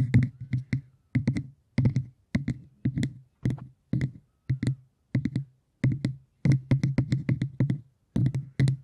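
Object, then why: Cork surface. Cork is tapped in quick, rhythmic bursts of several taps each, separated by brief pauses. Each tap is a dull, low thud centered near 130 Hz with a faint crisp click at the attack. The taps die away almost instantly, leaving a soft, muted, drum-like patter.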